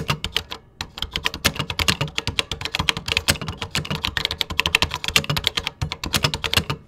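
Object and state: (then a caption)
Plastic computer keyboard being typed on. Fingertips type steadily on a vintage computer keyboard with cream plastic keycaps. A rapid, continuous run of bright, sharp clicks with a soft low thump under each keystroke breaks only for a brief pause near the start, and every click dies away almost instantly.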